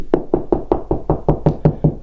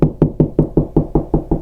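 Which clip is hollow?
The first.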